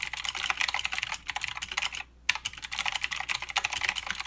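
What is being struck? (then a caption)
Mechanical keyboard with plastic keycaps. Steady two-handed fingertip typing on a mechanical keyboard with plastic keycaps and clicky blue switches. Rapid, bright, sharp clicks run continuously with almost no low end, pausing briefly near the middle before the typing resumes.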